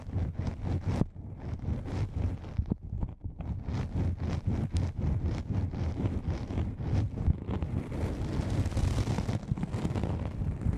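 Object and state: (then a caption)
Nylon fabric lens pouch, scratched and tapped. Long nails of both hands scratch and tap a soft, hollow black nylon fabric lens pouch, crinkling the fabric. Quick, irregular taps and scratches run throughout in a dense, low, rustling texture, turning into a brighter, hissing scratch near the end.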